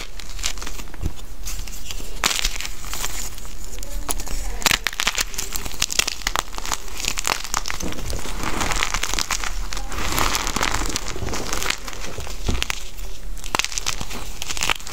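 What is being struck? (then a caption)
Gym chalk block. Pink and white gym chalk chunks resting on a pile of powder are crushed and rubbed between bare hands until they crumble into pieces. Many dry, crackling snaps and gritty crumbling sounds follow steadily one after another, with bright crunches over a soft low rumble.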